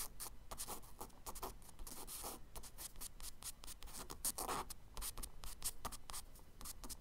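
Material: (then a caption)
Kraft paper. A charcoal stick scratches quick, small branch strokes onto the solid surface of a tan kraft paper page in a spiral sketchbook. The result is a rapid series of dry, bright scratches and brief scrapes over a low, steady background rumble.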